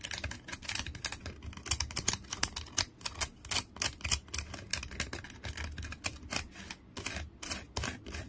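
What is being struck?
Wooden stick with bark.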